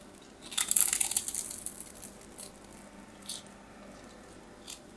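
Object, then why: Bar of soap. A small knife blade scrapes a hand-sized solid white bar of soap held in the fingers, shaving off flakes. A dense burst of bright, crisp scratching and crumbly scraping comes in the first second and a half, then fades to a few faint, sparse scrapes over a quiet background.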